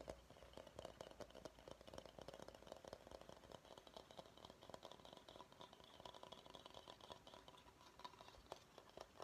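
Fingernails tap and scratch the outside of a medium, hollow, empty bamboo salad bowl held in the hands. The result is a quiet, steady run of quick, dry clicks over a faint scratchy hiss. The taps ring briefly with a hollow tone around 640 Hz, plus a thin bright edge.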